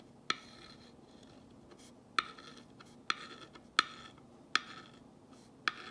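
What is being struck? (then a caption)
Painted wooden sign and glass rod tip. A glass rod tip is dragged along the white letters of a black-painted wooden box sign, tracing over them. Six sharp, bright ticks sound at irregular intervals, each followed by a short, faint scratchy trace. They fade almost instantly over a quiet background.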